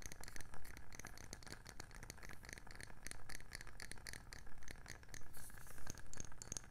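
Long nails tap repeatedly on the underside of a round wooden candle lid, its underside facing out. The taps are short, dry clicks that die away almost at once, with bright ticks over a steady low rumble.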